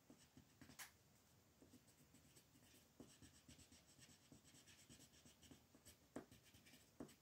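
A green wooden colored pencil shades a flat, printed paper coloring page lying on a wooden table, while the other hand, with long painted nails, holds the sheet still. Quiet, steady scratchy rubbing strokes repeat at a loose rhythm, with a few sharper, brighter ticks standing out.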